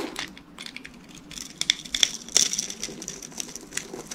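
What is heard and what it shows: A utility knife blade cuts and scrapes small cubes off the scored surface of a solid, hand-sized, rectangular green bar of dry soap held in one hand, while the flakes fall off. Dry, crisp crackling and crunching scrapes come in quick, irregular bursts with a few sharper snaps. The sound is bright and high with almost no low end, and each crack dies away at once.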